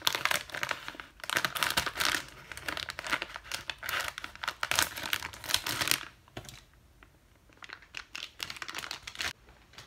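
Fingertips with long white nails handle and squeeze a clear, thin plastic zip-lock bag holding a round yellow item, crinkling the plastic. Dense, bright, crackling crinkles fill the first six seconds, then drop to quieter, sparser crackles and light ticks until the end.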